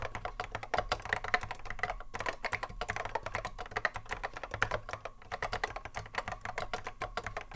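A vintage cream Apple M0110A keyboard with a hollow plastic case and Alps SKCC mechanical switches, sitting on a wooden desk, is touch-typed continuously with the fingertips of both hands. The result is a steady, fast stream of short, sharp clacks with a mid-range body, bright tops, and a little low thump beneath. Each keystroke dies away almost instantly.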